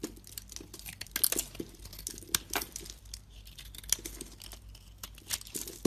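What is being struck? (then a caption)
Soap bar cut with a blade. A metal utility blade shaves chunks and powder off a solid white bar of soap held in the palm. Dry, bright scraping and crisp cutting crackles come in quick bursts with sharp, short-lived snaps over a faint steady low hum.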